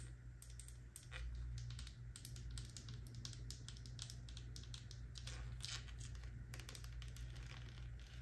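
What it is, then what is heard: Plastic lotion bottle tapped with nails. A full pink faceted plastic body lotion bottle with a gold pump cap is held in the hand and tapped rapidly with long nails. It gives a dense, continuous stream of crisp, bright clicking taps over a steady low hum.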